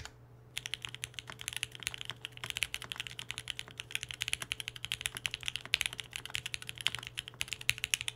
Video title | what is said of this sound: Rocketkeyboards Mercury65! DROPS TODAY! MUST WATCH! | there's a nice clack here it's not harsh or loud but instead like a nice subtle clack that no doubt is influenced by that gasket mount